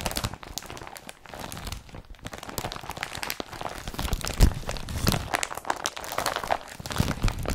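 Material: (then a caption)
Polypropylene. Fingers rub and scratch the rolled-up strap and body of a blue woven polypropylene IKEA BRATTBY carrier bag. The result is a steady, dense crinkling and crunchy scratching with quick dry rasps. The sound grows slightly louder and busier through the second half, with a sharper crunch near the middle.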